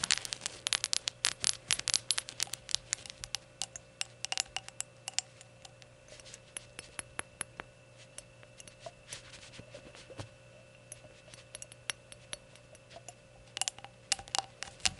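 Long gold nails tap rapidly on the glazed surface of a small, hollow, empty ceramic rainbow shot glass held in the hands over a towel. The taps are bright, sharp clicks that die away instantly. They come in dense bursts at the start and end, with sparser, quieter taps in between.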